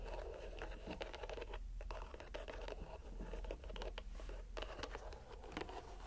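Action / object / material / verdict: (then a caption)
scrape / soft rubber stress ball in a string mesh net / rubber / none. A fist-sized, soft purple rubber squishy stress ball, filled and bulging through a white string mesh net, is squeezed and kneaded by bare fingers and palm. It makes a quiet, continuous run of soft crackling, scratching and pattering sounds over a low background rumble.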